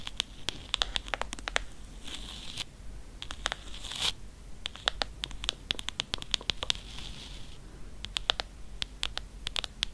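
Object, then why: Faux-leather hardcover book. Long nails tap and scratch the embossed spine of a thick, leather-bound Grimm's fairy tales hardcover in faux leather. Quick, dry clicks mix with soft scratchy rasps, bright and crisp around 3.5 kHz with no ring. The tapping runs in uneven bursts throughout, with short scraping stretches between them.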